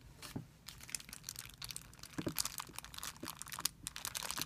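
A thin, clear, soft plastic film bag lies on a white surface while fingertips with short nails gather and crumple it. The result is a dense run of bright, sharp crinkles and crackles in quick, uneven bursts with no ring after each one.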